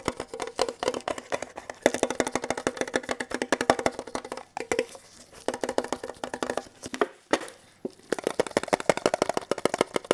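Bare and latex-gloved fingertips tap rapidly on a small, hollow, red printed metal Kellogg's tin box, held upright and then flat. The result is a steady stream of quick, dry clicking taps with a hollow tinny tone around 570 Hz that dies away almost at once. The tapping pauses briefly twice.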